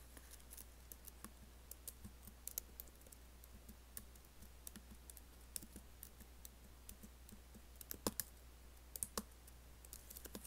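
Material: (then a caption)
Plastic. Fingertips and nails type rapidly on a MacBook laptop keyboard with black plastic keys set in an aluminum case. Many quick, dry clicks and taps come in uneven bursts, each short with a bright edge, over a steady low hum.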